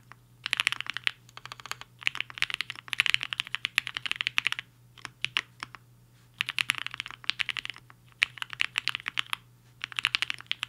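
Fingertips of both hands type on a Hi-Finger 7.5, a black-cased 75% mechanical keyboard with a hollow case and white and pink plastic keycaps, resting on a desk mat. Bursts of rapid, bright, clicky key taps are separated by short pauses, each tap dying away almost instantly over a faint steady low hum.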